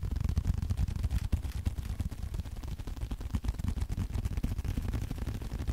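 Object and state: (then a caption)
Leather card wallet. Fingertips tap and scratch a small, flat blue leather card holder held close to the mic. Rapid, uneven soft taps and brushing scratches run throughout, sounding dull and low with almost no ring.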